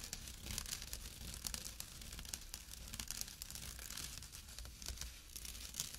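Short nails scratch the coarse weave of a small, empty jute/burlap drawstring pouch resting on dark cloth. The sound is a quiet, continuous stream of dry, bright, rasping strokes with a low rumble underneath. Each stroke dies away almost instantly.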